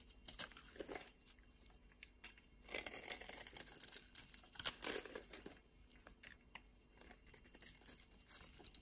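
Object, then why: Solid bar of soap. A solid beige bar of soap held in the palm is shaved and carved with a utility knife blade, crumbly flakes falling away. Dry, bright scraping and crumbly crunching come in short bursts, growing denser and louder in the middle before easing to softer scratches.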